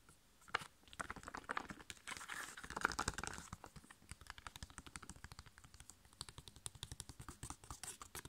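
A hand-sized, flat, sealed, printed foil-laminated plastic sachet holding a sheet face mask is held in both hands and tapped rapidly with long painted nails and fingertips. Dozens of quick, dry, crisp clicks and taps follow one another, with a denser crinkly rustle in the first few seconds. The sound is quiet and close, with no ring after each tap.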